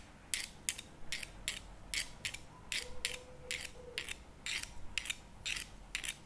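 Two wooden chopsticks scrape and tap the lid of a CremaNovi plastic spread tub lying on its side. They make a steady series of short, bright, scratchy bursts with quick decays over a low background hiss. A faint steady tone hums underneath in the middle of the clip.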